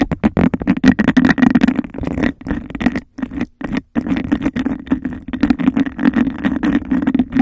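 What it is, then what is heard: Textured glass cup, tapped and scratched. Fingernails rapidly tap and scratch a clear textured glass cup held over a microphone, giving a hollow, boxy resonance around 215 Hz. Dense bursts of quick clicks and scrapes run throughout, broken by two brief silent gaps near the middle.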